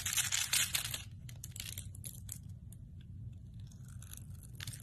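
A metal blade shaves thin shavings from the face of a hand-held, solid translucent amber glycerin soap bar. A loud, bright, crackly scraping burst fills the first second, then softer, intermittent crisp scrapes and shaving sounds continue over a steady low rumble.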